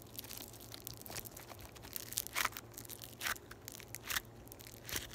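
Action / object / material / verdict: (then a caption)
scrape / floam, polystyrene beads in sticky binder / polystyrene beads / none. A palm-sized, solid lump of yellow floam, tiny polystyrene foam beads in a sticky binder, is poked with long white acrylic nails and squeezed and pulled apart with the fingertips. This produces a steady run of dry, crunchy, crackly bead sounds with short, bright bursts over a faint low hum.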